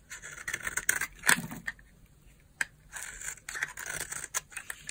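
A utility knife blade slices and scrapes brittle flakes off a solid purple dry bar soap held in the hand. Dry, bright crunching and scratchy scraping come in short bursts, with a sharp crack near the middle and quieter gaps between strokes.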